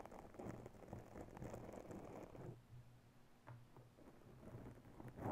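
Bare long natural nails of both hands scratch a soft, porous round grey foam windscreen on a microphone, producing a dense, muffled scratching and rustling that sits mostly low with little brightness. The scratching eases into a quieter, sparser stretch in the middle, then builds again and peaks at the end.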